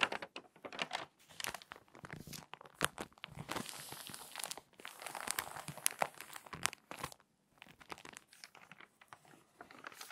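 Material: Glossy paper.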